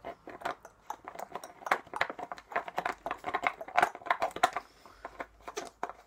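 Fingertips twist and tap the green plastic cap of a small, clear plastic drink bottle with a colourful label, held in one hand and hollow, apparently empty. A quick, irregular run of dry, hollow plastic clicks and taps, about three per second, is heard, centred in the midrange with a slight high edge. Each tap dies away almost instantly with no ring.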